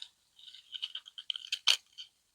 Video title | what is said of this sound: PASSIFLORA: THE PASSION FRUIT VINE | you can hear the seeds if I shake it